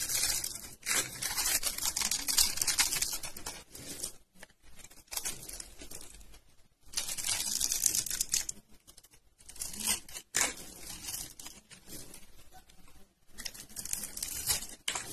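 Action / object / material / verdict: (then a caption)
scrape / bar of soap / soap / none. A flat metal blade scrapes and shaves the grid-cut edge of a rectangular solid bar of dry white soap, held in one hand by fingers with purple nails, releasing powdery crumbs. Bright, dry crunching and crackling scrapes come in bursts of a few seconds, separated by brief quiet gaps.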